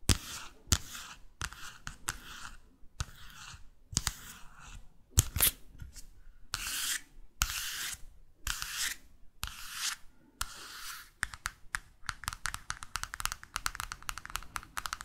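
Long fake nails tap and scratch the glossy cover, back and spine of a small paperback London guidebook. Bright, papery scratching strokes come in separate bursts for most of the clip. A quick run of sharp, dry taps follows at the end.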